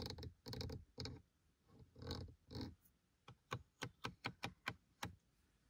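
A fingertip and a short painted nail scratch and tap the small adjuster tab and horizontal slats of a black plastic dashboard air vent in a Seat Leon FR. First come several rough, broadband scratching bursts, then eight short, dry, bright plastic taps with almost no ring.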